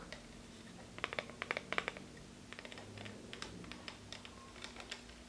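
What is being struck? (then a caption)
Clear plastic phone case with rhinestones. Long red-painted fingernails tap and scratch a small, hollow, empty transparent plastic phone case dotted with small rhinestones, held up in both hands. About twenty quick, light, bright clicks arrive in uneven clusters, with a faint scratchy texture between them. A low, steady hum sits underneath.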